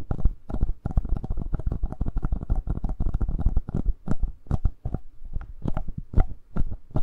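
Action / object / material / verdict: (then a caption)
tap / plastic handheld audio recorder / plastic / none. Fingertips and short nails scratch and tap around the two metal-capsule mics and upper body of a black plastic Tascam handheld recorder with a hollow body. The result is a dense, irregular stream of dull, muffled thumps and rubbing scratches, heavy in the low end, with brief brighter ticks.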